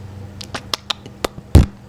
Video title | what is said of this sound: Fondjoy 1/7 Iron man mark 43 💀 | ketika misalnya kita gerak-gerakin tuh atau di penyet-penyet kayak gini tuh ada suaranya tuh itu nunjukin betapa tipisnya e bahan yang dipakai di sini